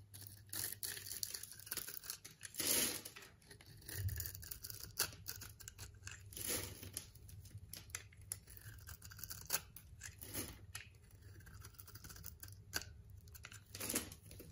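A blade carves small cubes into the surface of a hand-sized, solid purple and pink striped soap bar held in the palm by a hand with long black nails, and the cubes crumble off. The cuts make a quick run of crisp, bright scraping and crackling snaps over a faint, steady low hum, with a few louder crunches standing out.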